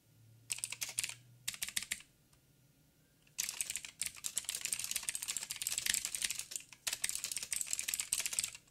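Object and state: Mechanical keyboard with plastic keycaps.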